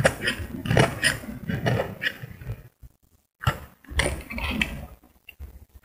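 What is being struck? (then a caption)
Bar of soap. A solid cream bar of soap held in the hand is scraped with a metal utility blade, shavings falling away. Repeated rough, crunchy scraping strokes fill the first few seconds, pause briefly into near silence, then resume before tapering off into faint scratches.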